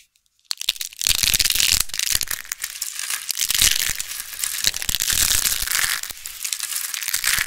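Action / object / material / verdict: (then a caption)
scrape / dried soap rose / soap / none. A hand-sized purple rose made of thin rolled strips of dried soap, solid and brittle, is squeezed and crushed between the fingertips and palms of both hands. After a brief silence, a dense, continuous run of crisp, bright crackling and crunching follows as it breaks into flakes.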